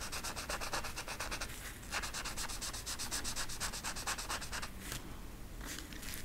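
A yellow marker tip rubs rapidly back and forth over a flat velvet coloring poster on a stiff backing while filling in the feathers. The result is a steady run of quick, scratchy rubbing strokes with a bright, hissy texture, broken by brief pauses near 1.8 and 4.8 seconds before the strokes resume.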